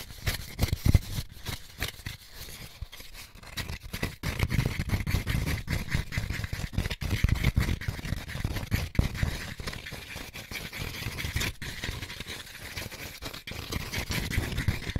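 An empty white molded paper pulp egg carton section with hollow cups is held in both hands while fingertips and short nails scratch and rub along the cup edges and rough rim. The result is a steady, dense stream of dry scraping and scratching, with soft low rubbing thuds underneath and a faint brittle rasp on top.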